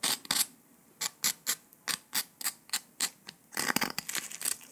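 Latex-gloved fingers snap small pieces off the edge of a thin, brittle, palm-sized piece of porous brown dalgona honeycomb sugar candy with an airy honeycomb interior, while other candy pieces lie on the table. The result is a steady run of short, bright, crisp cracks with quiet pauses between them, ending in a denser flurry of crackling breaks.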